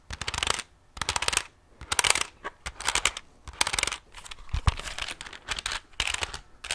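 Fingertips and nails tap and scratch the keys, edges and back of a handheld plastic pocket calculator with a hollow casing. Bright, dry clicking and scratchy rustling come in quick bursts separated by brief pauses. The clicks stop almost instantly, with no ring after them.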